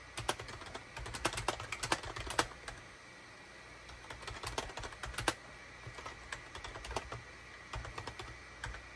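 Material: Plastic.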